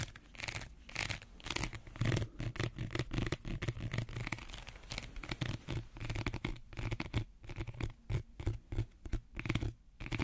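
Fingernails scratch the woven outer surface of a small, empty woven reed or wicker bread basket. The result is a dense, crackly rasp in quick bursts with short pauses between them, carrying a low, hollow body under brighter scratchy texture. Each scrape is dry and dies away almost instantly.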